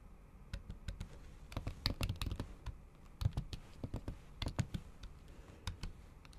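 A MacBook keyboard under a thin pink patterned plastic/silicone cover is typed on with the tips of long acrylic nails in repeated taps on its solid keys. The result is soft, dull, muffled clicks with a low thump and brief bright ticks that die away almost instantly. The taps come in irregular clusters separated by short pauses.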